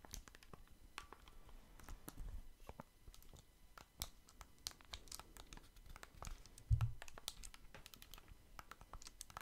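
Small hollow blue and red plastic Nintendo Switch Joy-Con controllers are held in the hands right next to the microphone while fingertips rapidly click and tap their buttons. It makes a quick, irregular stream of sharp, dry plastic clicks with bright, crisp edges over a soft, low rumble from the controllers being handled. A heavier low bump stands out near the end.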